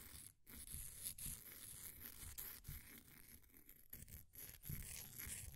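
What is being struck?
Compressed powder bath bomb.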